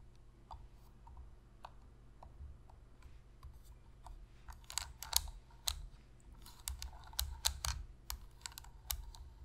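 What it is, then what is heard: Plastic game controller tapped with fingernails. Long pink fingernails tap on the top surface and buttons of a black, hollow plastic PlayStation controller. Short, sharp, bright clicks come sparse and soft at first, then louder and denser in the second half, over a steady low hum.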